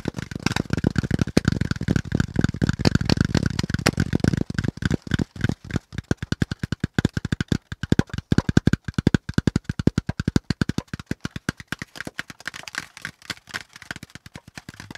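Fingertips tap and scratch the pleated ridges of a brown corrugated cardboard packaging insert with hollow, empty compartments, partly close to the mic. The taps are rapid, dry and deep-toned, with a hollow papery rattle. A dense, blurred run of tapping and scraping gives way to sharper, separate knocks, then softens near the end.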